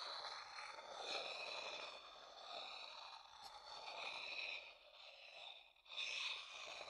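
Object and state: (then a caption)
Wooden bowl. A dark-brown hollow wooden bowl, held upside down, has its outer bottom tapped and scraped with a wooden stick. The result is a quiet, continuous, bright scratchy rasp with almost no low end. It briefly fades out before starting again near the end.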